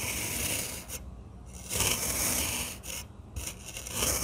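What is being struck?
Kinetic sand block cut with a metal knife.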